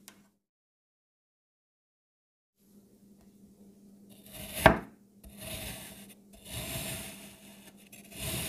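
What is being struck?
Kinetic sand block.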